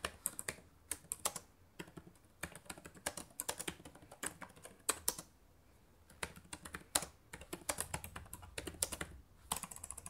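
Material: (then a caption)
Plastic. Fast two-handed typing with fingertips and long nails on the plastic keys of a black laptop keyboard gives quick bursts of sharp, bright clicks. Brief pauses break up the bursts, and each click dies away almost at once against a quiet background.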